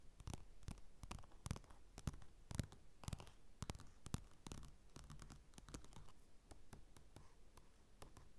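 Fingertips and nails scratch and tap quickly on the cover of a flat glossy paper magazine lying on a dark table, with a mini mic resting on it. Dense, rapid, dry clicks and scratchy brushes sound close and bassy, each tap cut short with no ring.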